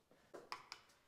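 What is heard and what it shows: Three quick knocks on a taped, cracked wall give a hollow, drum-like sound with a bright ring near 1 kHz that dies away fast. The hollowness comes from the plaster layer having come loose from the wall behind it. That detached plaster should be shoveled off and redone.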